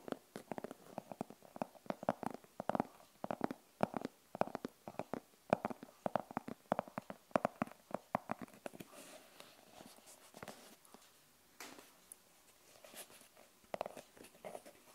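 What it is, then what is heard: Hollow fabric-covered hard glasses case. Long nails tap and scratch the face and edges of a hollow, rigid glasses case with a fabric cover printed with a cartoon girl, held in both hands. For the first nine seconds, quick, dry, hollow taps land in a dense patter with a mid-range knock and almost no ring. After that, softer, brighter scratching strokes take over, with only occasional taps.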